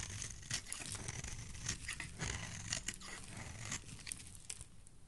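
A utility knife blade scrapes and shaves a solid yellow oval bar of soap held in the hand, peeling it into thin yellow strands. The result is a steady run of dry, crinkly, bright rasping strokes over a soft low rumble.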